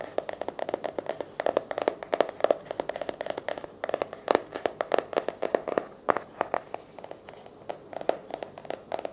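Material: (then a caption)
Cardboard. Fingertips and nails tap and scratch the cover and edges of a blue patterned, cardboard-covered hardcover paper journal resting on a lap. The result is a rapid, uneven string of dry, short clicks and taps with a hollow midrange tone around 600 Hz, mixed with soft scratching and little low end.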